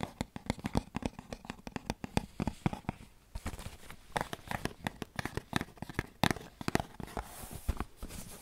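A small, hollow, printed cardboard tea box is tapped and scratched with nails and fingertips in a quick, uneven run of dozens of light hits. Each tap is a dry, dull knock that stops at once, mixed with papery scratching and crinkling between the taps.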